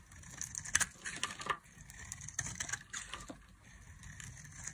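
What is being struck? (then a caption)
Bar of soap scraped by a metal knife blade. A metal knife blade scrapes and carves curls and flakes from the edges of a solid, palm-sized rectangular bar of dry green soap held in the hand. The sound is a series of dry, crisp, bright scraping and crackling strokes, with sharper snaps between quieter rasping passes.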